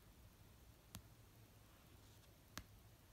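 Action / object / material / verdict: tap / paperback book cover / paper / none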